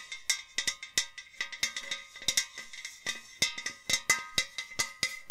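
A hollow white enamel metal jug vase, held by the neck, is tapped along its body with long nails in a quick, uneven series of bright clicks. Each tap carries a short metallic ring with clear tones around 2 kHz and fainter ones lower down.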